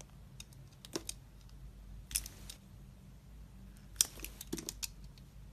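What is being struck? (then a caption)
Glycerin soap bar cut with a metal blade. A palm-size solid translucent pink glycerin soap bar is held in hand while a metal utility blade scrapes and slices thin layers off its surface. It makes short, bright scraping strokes and crisp cuts over a low steady hum, with the loudest strokes around 1, 2.2 and 4 seconds.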